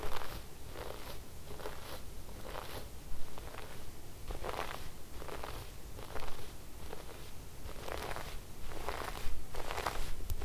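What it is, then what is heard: Sequin fabric being brushed. A wooden-backed brush with white bristles is stroked repeatedly across cream fabric with silver sequin floral embroidery. Each pass makes a bright, scratchy, crackling rustle as the bristles drag over the sequins, over a steady low rumble.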